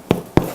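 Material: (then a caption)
Bread. Two taps on the bottom of a freshly baked, still-warm sourdough loaf give short, hollow thumps with a quick decay. The hollow sound marks the loaf as done.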